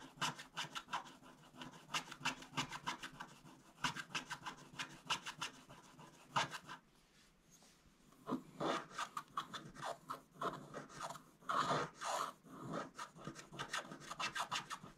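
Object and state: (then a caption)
Scratch-off paper card being scraped. A wooden stylus scrapes the coating off a thin, flat coated scratch-art card in a book, with one hand steadying the book. Rapid, repeated dry scratching strokes produce a bright, raspy rubbing sound. The strokes pause briefly partway through, then resume in longer, heavier scrapes.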